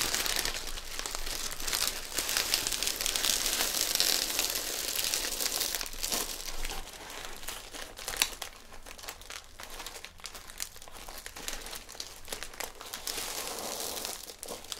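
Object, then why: Metallic foil gift bag. A medium green, Christmas-patterned metallic foil gift bag, filled with a present and held upright on a table, is crinkled and squeezed by fingertips while the ribbon at the top is gathered and tied. Dense, bright crinkling and crackling run throughout, louder in the first half and softer with scattered sharp crackles after about seven seconds.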